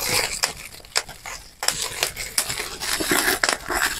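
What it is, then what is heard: Plastic bubble wrap being popped. Clear plastic bubble wrap is crumpled, and its bubbles are pinched and popped between thumbs and fingertips. Sharp, bright pops break through a steady crinkling rustle, with quick bursts of snapping standing out against the dense crackle.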